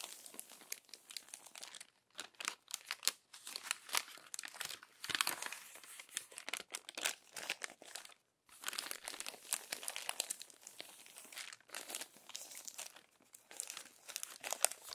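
Hands with long pink nails smooth and crinkle the crumpled pages of an open glossy paper magazine lying flat. Dense, bright, crackly crinkling comes in bursts throughout, with short quiet breaks around 2 seconds and 8 seconds. There is almost no low end.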